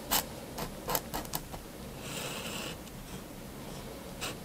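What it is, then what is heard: Pen drawing on paper. A fine plastic-bodied fineliner pen tip draws on a flat white paper sheet resting on a wooden desk, making light scratching strokes. Short, bright taps and quick scratches come first, then a longer, softer continuous scratch, and one final quick stroke near the end over a quiet background.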